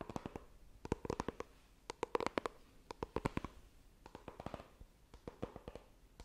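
Long green nails tap and scratch the glossy lid of a small, hollow white iPhone retail box made of coated cardboard. Quick, dry clicks come in rapid bursts with a hollow, mid-pitched tone, separated by soft scratching. Each tap dies away almost instantly.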